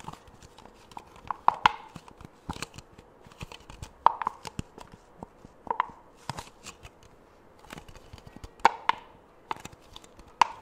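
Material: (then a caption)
Plastic. A small white ribbed disposable plastic cup, hollow and empty, is held in one hand and tapped and handled with the fingertips of the other close to the microphone. Sharp, dry clicks and taps with a hollow ring near 940 Hz are scattered irregularly across the clip, mixed with faint crinkling and rustling.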